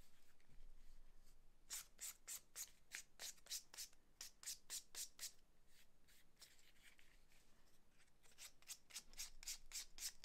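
The edge of a small, flat, layered reddish-brown leather card holder, held in one hand, is rubbed with a sanding sponge or block held in the other. Quick back-and-forth strokes make bright, raspy scratching bursts over a soft low rumble. The strokes come in runs, easing off in the middle before picking up again.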